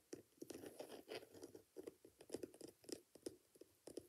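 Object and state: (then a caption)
Glitter-covered boot with rubber sole, scratched and tapped. Fingertips and nails scratch and tap a single hand-held, hollow and empty Dr Martens-style ankle boot, working over its coarse multicolour glitter upper and the edge of its thick black rubber sole with yellow welt stitching. About nineteen quick, dry, gritty taps and scratches come in an uneven patter, each dying away almost instantly and centered in the low mids with little bass.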